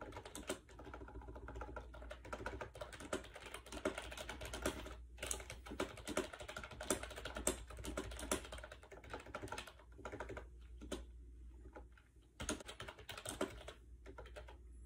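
Fingertips type quickly on a compact gray plastic AJAZZ 308i wireless Bluetooth keyboard with round white keycaps and orange keys, resting on a bed. Its hollow plastic keys give dense, short, bright clicks and clacks, with a few brief pauses, over a steady low hum.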